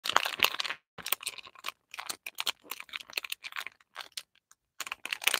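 Fingertips and short nails tap and scratch the surface of a small, closed, printed cardboard box holding a full bar of Lifebuoy soap, held in both hands over artificial grass. Dry, crisp, bright tapping and scratching come in quick bursts with no low end and almost no ring, separated by brief near-silent pauses. The box stays unopened throughout.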